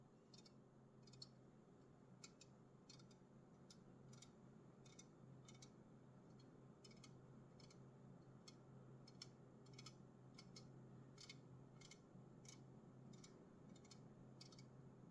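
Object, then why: Aluminum drink can. Fingers tap an aluminum Red Bull energy drink can, producing a steady run of quick, bright metallic clicks at a quiet level. Each tap is short with almost no ring, over a constant low background hum.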